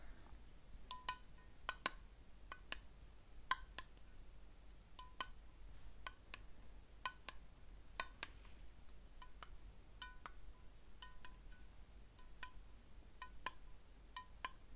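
A small, patterned, unlit ceramic candle jar with a lid is held up in one hand and tapped with fingernails. An irregular series of quiet, bright clinks rings around 1 kHz, each dying away almost at once. A steady low hum runs underneath throughout.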